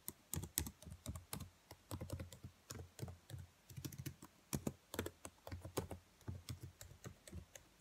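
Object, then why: Plastic laptop keyboard. Fingertips and long nails tap and type on the black plastic keys of a dark laptop keyboard. A quiet, uneven run of short, dull thumping clicks, each with a brief bright tick, dies away almost at once.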